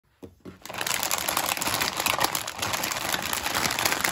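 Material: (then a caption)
Plastic film. A full, large 1 kg metallized plastic film bag of Witor's Golden chocolates is held in both hands while fingertips and nails tap, squeeze and crinkle its surface, front and back. A couple of soft taps open the clip, then a dense, bright, steady crinkling fills the rest, with little low end.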